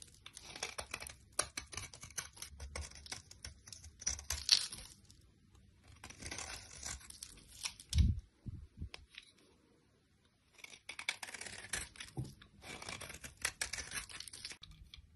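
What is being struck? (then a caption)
Bar of soap scraped with a knife blade. A solid orange bar of soap held in the hand has its edge and face scraped with a utility knife blade, shedding powdery, crumbly shavings. Bursts of dry, bright scratching and crackling scrapes come in uneven passes, with a short low thump near the middle and a quiet pause before the scraping resumes.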